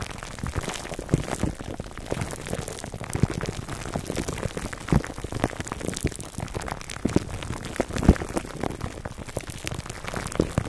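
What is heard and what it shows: Fingertips and nails of both hands scratch and rub clear plastic cling film wrapped over a black foam microphone windscreen. The result is a dense, continuous crackling and crinkling with a heavy low rumble and occasional sharper pops standing out above the steady texture.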